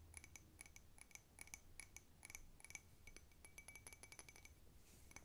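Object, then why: Small ceramic cup. A small, handleless blue cup with a white snowflake pattern, apparently ceramic, hollow and seemingly empty, is held in the hands and tapped quickly on its sides and rim with long red-painted nails. The result is a fast, irregular run of quiet, sharp clinks, each with a bright ringing tone near 2.3 kHz and high overtones that die away almost at once. A faint low rumble sits underneath throughout.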